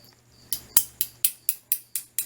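A metal head from a Fine slant razor is tapped eight times against the Bakelite body of a Phoenix open comb slant razor, giving short, bright clicks that die away almost at once. The razor is real Bakelite, which has its own distinct tap sound that sets it apart from knockoff plastic.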